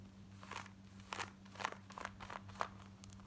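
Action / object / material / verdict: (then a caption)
scrape / denim jeans fabric / denim / none. Long fingernails scratch quickly across the front of worn black denim jeans near the fly. Short, dry, crunchy rasps come in quick bursts, with bright bursts of scraping texture centered around 1 kHz. A steady low hum runs underneath throughout.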